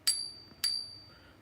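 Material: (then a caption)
Silver. A real silver Maple Leaf coin is ping tested for comparison, giving two bright metallic pings at about 0.07 s and 0.63 s. Each ping rings clearly and fades slowly like a windchime. The coin sounds as a real silver coin should.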